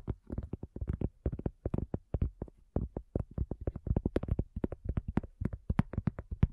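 A cork coaster is tapped in a quick, steady run of about forty soft taps. Each tap is a dull, low thud that dies away almost at once, with no ringing.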